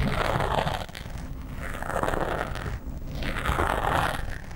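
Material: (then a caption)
Foam. Nails and fingertips of both hands scratch the sides of a black foam windscreen on a microphone. The result is a dense, crinkly, crunching rustle with heavy low rumble, swelling in three waves and easing briefly in between.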